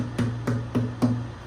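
Four taps on the thick top of a newly finished wooden Desmond acoustic guitar, one with a heavier build, a thick back and normal sides of about 2 to 2.1 millimeters. Each tap gives a short, woody knock with a brief, low-heavy ring. The tap tone is pitched high, not G but probably A or even B flat, because of the thicker top and heavier build.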